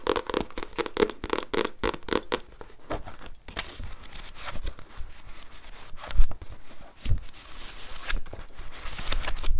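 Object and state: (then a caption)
Paperback book scratched and tapped with nails. Long nails scratch and tap the back cover and page edges of a paperback book. A quick run of sharp, papery taps opens the clip, then gives way to softer, continuous scratching with a few louder knocks near the end.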